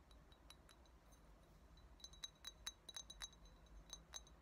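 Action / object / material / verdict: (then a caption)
tap / small glass shot glass / glass / none. Long nails tap the sides of an empty small clear shot glass with a thick blue base. Bright, quick clinks ring out over a low background hum, sparse at first and then coming in denser clusters.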